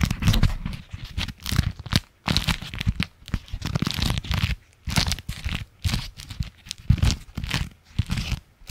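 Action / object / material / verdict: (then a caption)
scrape / beeswax-coated fabric food wrap / waxed fabric / none. A striped beeswax-coated fabric food wrap sheet, held in both hands close to the microphone, is bent, crinkled and scratched with the fingertips and nails. It makes dense bursts of crinkling and crackling with a soft low rustle underneath and bright papery crackle on top, separated by brief quiet pauses.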